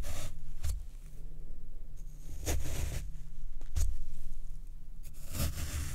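A white plastic fork pokes rows of holes into the left of two square blocks of soft, porous, soaked black floral foam on a wooden tray, while the other hand rests on the second block without striking it. Each poke gives a soft, brief, crunchy squelch over a steady low rumble.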